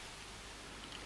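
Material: Nothing is struck.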